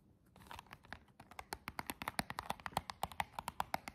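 Long jeweled nails scratch and tap across the printed front and clear plastic window of a small, hollow cardboard nail box with an embossed pattern. A faint scratchy rustle opens into a quick, steady run of dry, hollow clicks with a mid-pitched knock, each dying away almost instantly.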